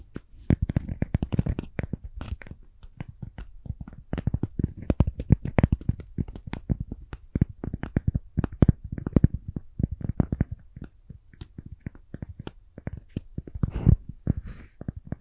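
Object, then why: Cork coaster. A round, palm-sized, thin, solid cork coaster is tapped and scratched with long acrylic nails. Rapid, irregular dull taps with very short decay mix with soft scratching, mostly low in pitch with little high-frequency content.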